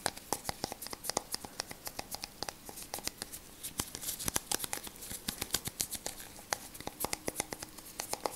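A small white plastic bottle with a green label is tapped and scratched with latex-gloved fingertips. A rapid, steady run of short, bright plastic clicks sounds over a soft, crinkly scratching texture, with each tap dying away almost instantly.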